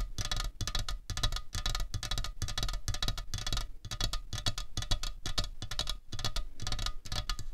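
Long fingernails of both hands tap quickly and unevenly on a slim, hollow aluminium Coca-Cola Cherry can resting on a tablecloth. Each tap is a short, dry tick with a low, hollow thump and bright metallic clicks. The taps come in dense bursts with brief pauses between them.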